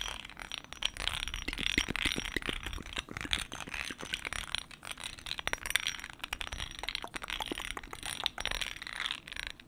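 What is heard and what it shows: A small black glass cologne bottle, grenade-shaped with a raised grid texture, is held in one hand while the fingertips and short nails of the other tap and scratch across it close to the microphone. Quick, dry clicks and scratchy ticks come in irregular bursts, bright and crisp, with almost no ring after each touch.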